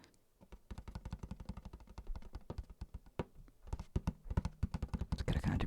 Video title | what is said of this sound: ASMR Tender Talking and Tapping on New and Old Items | if I go to the center of the Hat where the brims are it's got a kind of different sound to it